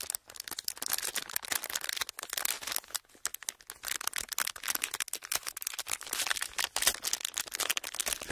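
An empty sheet of clear ridged plastic packaging is flexed and crinkled with fingers. It gives a dense, continuous stream of sharp, bright crackles and snaps with almost no low end. Each crackle dies away at once, with brief pauses between bursts.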